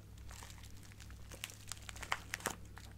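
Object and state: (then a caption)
Plastic bag of acrylic craft gems. A small clear plastic bag with a cardboard header, full of colorful acrylic craft gems, is crinkled and squeezed with fingertips and nails. Soft, continuous crinkling is punctuated by sharp, bright crackles and clicks as the gems shift inside. A faint steady low hum sits underneath throughout.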